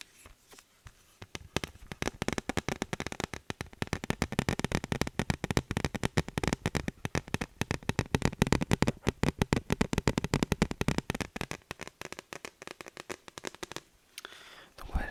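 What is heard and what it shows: Rapid fingertip tapping on a brown wooden picture frame, received as a gift, makes a dense run of short, dry clicks with a low-pitched woody body and almost no ring. The tapping starts sparse, builds into a fast steady patter, then thins out before stopping near the end.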